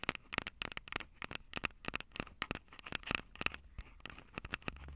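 Long acrylic nails tap rapidly on the mic capsules of a Tascam DR-05 handheld recorder, which has a plastic body and metal mic grilles. The result is a quick, uneven run of sharp, dry, bright clicks and crackly scratches that stop instantly, over a faint low rumble.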